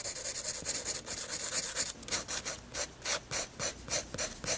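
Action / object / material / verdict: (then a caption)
scrape / paper sketchbook page with graphite pencil / paper / none. A graphite pencil shades a flat white paper page of a spiral sketchbook with repeated rubbing strokes. The result is a bright, dry rasping scratch, dense and overlapping at first, then settling into separate, evenly spaced back-and-forth strokes with little low end.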